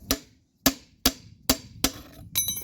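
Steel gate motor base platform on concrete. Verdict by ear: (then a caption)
Hollow. Six sharp, bright metallic taps on the old steel base platform of a Centurion D5 Evo Smart sliding gate motor, made of steel plates spot-welded onto each other on the concrete track. Each tap gives a short hollow clank that dies away quickly. The hollow sound shows the platform is not properly bonded or mounted, so a new platform is needed.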